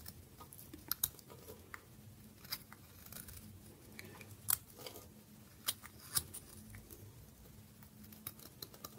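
A metal blade scrapes and shaves the face of a hand-held rectangular bar of dry terracotta-coloured soap, with shavings falling onto a dark surface. Quiet, dry scraping is broken by sharp, bright crunches and clicks as the blade catches and flakes off pieces. A faint steady low hum runs underneath throughout.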